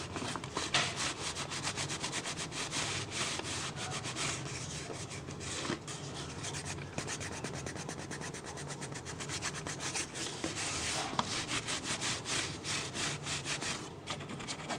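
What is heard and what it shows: Fingertips and nails rub and scratch along an empty, hollow clear PET plastic water bottle with ribbed sides and a star-shaped base. The result is a continuous, quiet, bright scratching and rubbing texture with quick crinkly strokes and no ringing.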